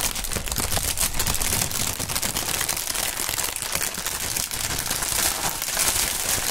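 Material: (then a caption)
Plastic film. A strip of large, hollow, air-filled clear polyethylene air-pillow packaging printed "Sealed Air" is crumpled and crinkled by hands in fingerless gloves, the fingertips squeezing the film. It makes a continuous, dense stream of bright, crackling plastic crinkles with quick snaps layered over a low rustle, holding a steady level throughout.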